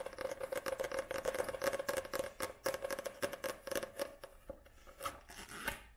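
Long nails tap and scratch the glossy cardboard front cover of a solid paperback book held upright. Quick, irregular, crisp clicks mix with dry scraping over a faint steady tone near 570 Hz. The tapping thins out briefly near the end before picking up again.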